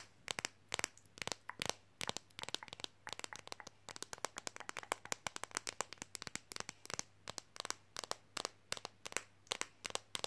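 A thin, flexible, card-sized red Coca-Cola fridge magnet, held in the hands, is tapped quickly and scratched with fingernails while being bent slightly. Rapid, sharp, dry clicks and crackly scratches sound bright and die away instantly, over a faint steady low hum.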